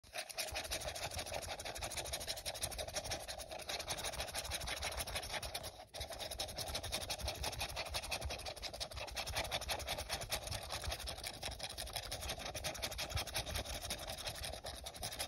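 Fingertips and short nails scratch and tap the sides of an empty, hollow, translucent printed plastic drinking cup held on its side over a dark blanket. The result is a dense, steady stream of bright, hissy scratching with quick hollow taps. It pauses briefly just before the six-second mark, then resumes.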